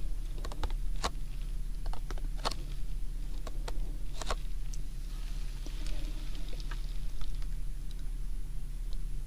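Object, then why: Printed cardboard tea box. Fingertips tap and scratch the front face of a printed cardboard Lipton tea box, hollow and likely full, standing upright on a binaural microphone, before the hands grip its top edge at the end. Short, dry, crisp taps and soft scratching sit over a steady low hum.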